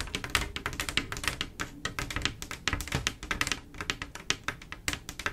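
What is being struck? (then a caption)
Mirror glass mosaic tile panel. Long acrylic nails from both hands tap rapidly across a solid, flat panel of silver mirror-glass mosaic tiles set in grout. The result is a dense stream of sharp, bright clicks that die away almost instantly. Faint music may be playing in the background.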